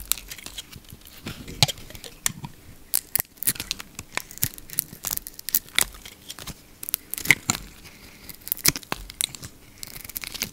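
A solid yellow bar of soap with a blue rim is held in the palm and shaved with a utility knife blade. It makes a rapid, irregular series of crisp, bright scraping and cutting crackles, each short and dry with almost no ring. A faint low hum sits underneath.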